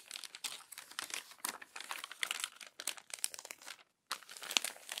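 Hands with long nails turn and flatten the crinkled, crumpled pages of an open glossy paper magazine. Dense, bright crinkling and crackling comes in quick bursts, with a short pause of silence near the end before the rustling resumes.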